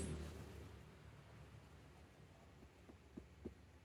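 Knocks on the steel body panel of a Land Cruiser 78 Series Troop Carrier fitted with sound deadening give only faint, dull thuds over a low hum. The treated panel sounds damped and barely audible rather than hollow, as expected once the deadening is installed.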